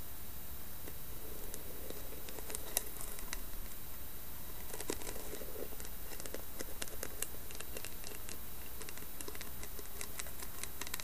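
Long painted nails tap and scratch the carved lid of a round, hollow, medium-size carved wooden container with a lid and a brass knob. Quiet, dry scratching runs throughout, broken by many quick, bright clicking taps that stop almost instantly, over a steady low hum.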